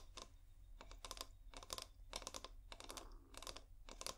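Fingernails tap in quick clustered bursts on a clear, hollow, bulb-shaped glass bottle with fairy lights inside, held upright. The taps are short, bright clicks with almost no ring, coming in several rapid bursts separated by brief pauses over a low steady hum.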